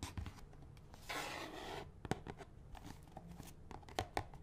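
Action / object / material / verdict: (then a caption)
scrape / cardboard box of latex gloves / cardboard / none. Fingernails tap and scratch a small, hollow red-and-white cardboard box of latex gloves, partly full, with the gloves visible through its window. Quiet, dry taps with a brief hollow knock are broken by a longer bright, hissy scratch across the cardboard, then more scattered taps.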